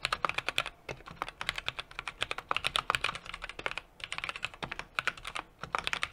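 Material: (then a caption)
Plastic, aluminium. A small 60% mechanical keyboard with an aluminum case, brass plate and plastic keycaps is typed on continuously with fingertips. Quick, bright clacks come in bursts with short pauses, each dying away almost at once with little low end.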